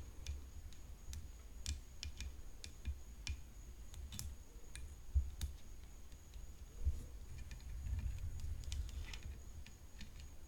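Long fingernails tap continuously on the frame of a tennis racket, making crisp, clicky, irregular taps that die away almost at once. The taps sit over a low, steady rumble, and a faint high tone holds throughout.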